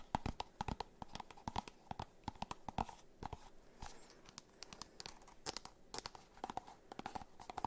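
Fingernails tap and scratch a small, hollow, white and orange printed cardboard box close to the microphones. Rapid, crisp, irregular taps with a hollow tone around 875 Hz are mixed with papery scratching and brief bright clicks, all at a quiet, intimate level.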